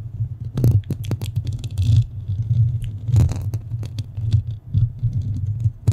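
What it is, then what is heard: Metal microphone grille. Long painted fingernails of both hands scratch and tap the rounded metal mesh grille of a black studio microphone. The result is a steady, deep rumbling thud around 100 Hz, overlaid with irregular short scrapes and bright clicky ticks.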